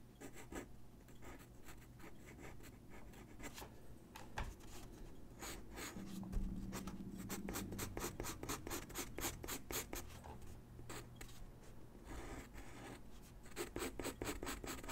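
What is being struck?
Sheet of drawing paper with graphite pencil.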